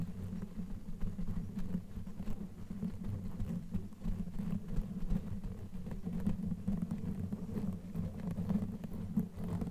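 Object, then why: Knitted yarn microphone cover. Long nails on both hands scratch and rub a black knitted yarn sleeve fitted over a microphone head. The sound is a steady, muffled rustling and scraping, heavy and low, with small soft bumps throughout and no bright edge.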